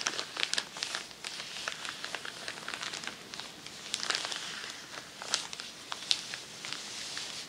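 Long nails scratch and crinkle a large, crinkled sheet of tissue paper lying flat on a table. The result is a continuous, bright, papery crinkling and crackling, scattered with sharp, quickly fading ticks and almost no low end.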